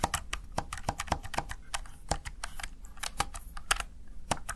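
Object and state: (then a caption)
Plastic gaming keypad being typed on. Fingertips and long nails tap the keys of a small, hollow, backlit plastic gaming keypad, the Razer Tartarus Chroma. Quick, dry clicky taps come in an uneven typing rhythm, each one short and bright with almost no ring.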